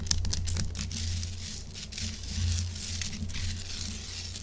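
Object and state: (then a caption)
Himalayan salt rock block. Long acrylic nails quickly scratch and tap a large, solid pink Himalayan salt chunk held upright. Bright, crisp scraping and dry clicks sit over a steady low hum throughout.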